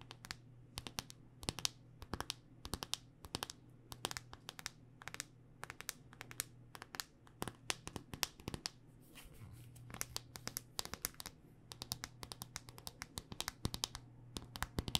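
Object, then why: Smartphone in a hard plastic case. A handheld smartphone in a solid black rugged hard-plastic case is tapped on its edge and face with long dark-painted nails. The result is a quick, steady run of sharp, bright clicks that die away almost instantly. A low, steady hum runs underneath.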